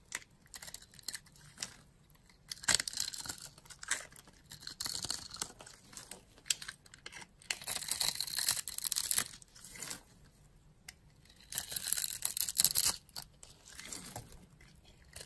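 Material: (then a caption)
Soap. A palm-sized solid blue bar of soap with white stripes is held in a hand with long glittery nails while a yellow-handled blade scrapes and cuts a grid into it, and the cubes are then crumbled off with the fingers. Bright, crisp scraping and crumbling crackles come in bursts, with the loudest stretches around the middle and near the end, and quieter gaps in between.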